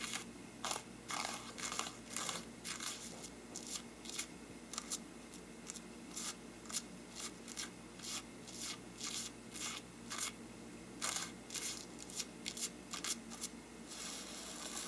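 A small brush scrapes and rubs near the top edge of a hollow faux-parchment paper lampshade. It makes repeated, irregular bursts of dry, bright scratching that crackle like scissors and die away quickly. A faint, steady low background sits beneath the strokes.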